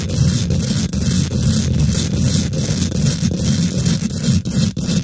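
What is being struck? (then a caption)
Woven metal mesh microphone grille. Both hands use long nails and fingertips to quickly scratch and tap the domed, hollow woven metal mesh grille of a large silver condenser microphone. The result is a dense, continuous, low-heavy scraping rumble with a thin bright hiss on top. Brief dips and sharp taps break it up throughout.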